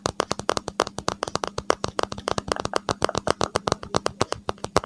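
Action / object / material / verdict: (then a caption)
tap / smartphone in a hard plastic case / plastic / none. A smartphone in a hard, gold-edged case is held horizontally over the microphone while its back is tapped and scratched with fingertips and nails. About 35 quick, dry, flat-sounding taps follow one another with almost no ring, and some carry a brief bright scratchy edge. A faint steady low hum sits underneath.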